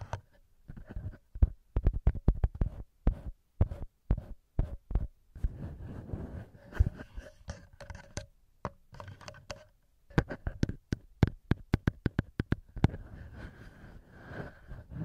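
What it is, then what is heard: Metal microphone capsules being tapped. Fingertips tap and rub directly on the two small metal microphone capsules of a handheld recorder, producing close, dull, bass-heavy thumps and soft scratchy rubbing. The taps come in quick irregular bursts with very short ring, separated by stretches of faint brushing and near silence.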